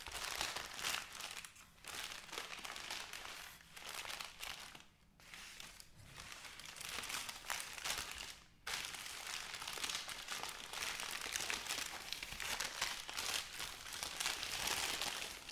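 Hands with long painted nails smooth, press and fold a large, thin sheet of white crinkly wrapping paper, possibly wrapped around something, on a cloth-covered table. Continuous bright crinkling and rustling fills the clip, with brief quieter dips around 5 and 8.5 seconds before the crackle resumes at full strength.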